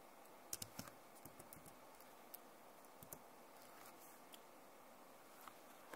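Long nails lightly tap and scratch across the keys of a backlit plastic laptop keyboard. Quiet, irregular, bright clicks with dry scratching are heard over a faint hiss.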